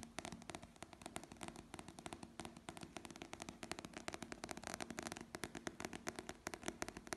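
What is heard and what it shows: Fingertips and nails rapidly tap and scratch the glossy paper cover and spine of a small paperback novel held in the hand. The result is a quiet, continuous stream of dry, crisp clicks and papery scratches with a bright edge and very short decay.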